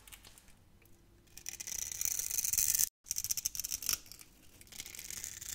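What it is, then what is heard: Soap bar scraped with a blade. A utility knife blade scrapes crunchy cubes off a solid, hand-sized orange soap bar scored in a grid. Faint scraping builds into dense, bright, crackling crunches that break off abruptly just before the three-second mark. The crunching resumes in sharp bursts and then eases into softer, quieter scraping.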